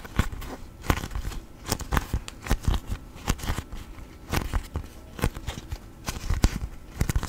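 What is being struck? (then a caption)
Beeswax-coated cotton food wrap. A thin yellow sheet of beeswax-coated cotton food wrap is held up, folded, creased, bent and rubbed with fingertips. It gives waxy crinkling with rapid, sharp crackles and snaps that spread up into bright highs. The bursts come in irregular clusters over a low, soft rustle.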